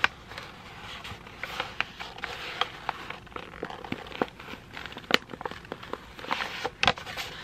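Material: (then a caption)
Paper. A thin white sheet of printed printer paper is folded, squeezed and crinkled with the fingers of both hands. The result is a steady bright crackling and rustling, broken by sharp crisp snaps as the paper creases, with almost no low-end weight.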